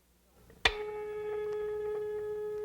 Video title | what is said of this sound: O Professor 20 (1992-1994) TV Cultura | agora dá pra ouvir melhor. Percebeu a diferença?